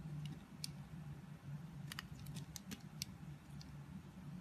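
A utility blade slices thin pieces off a solid pink bar of soap that has already been partly carved. Short, crisp, bright cutting clicks come in scattered bursts over a steady low hum.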